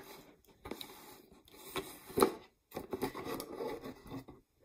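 Long nails scratch and rub the threaded rim and sides of a medium-size, mostly empty clear plastic peanut jar with a red lid. The result is quiet, dry, mid-range scraping and rustling in uneven bursts, with one sharper, louder scrape midway and a couple of brief pauses.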